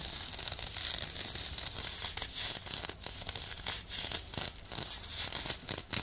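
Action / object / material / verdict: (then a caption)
scrape / woven nylon exfoliating glove / nylon / none. A hand-sized woven nylon exfoliation glove, a soft, hollow, textured synthetic mitt, is worn on one hand and held beside the left microphone ear while the medium nails of the other hand scratch and rub its bumpy surface. The result is a quiet, dense, bright crinkling rasp of rapid, short scratches with almost no low end.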